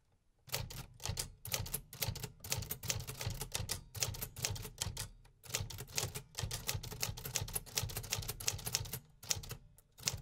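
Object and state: Metal manual typewriter keys.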